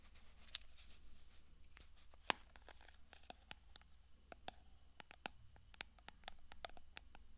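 Long nails tap and scratch the textured silver studded lid of a small, clear glass cosmetic jar held in one hand; the jar is hollow and appears empty. Quick, bright clicks and ticks, with one sharper louder tap, are scattered over soft scratching and a steady low hum. The overall sound is quiet and dry, with no ringing after each tap.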